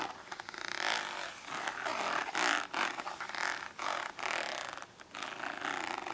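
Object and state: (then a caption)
Plastic index card case. Long acrylic nails scratch and tap across the top of a hollow, orange, ribbed plastic index card case lying flat. The result is a dense, continuous, bright raspy scratching with quick clicky taps and brief pauses, all thin and mid-to-high pitched with no low end.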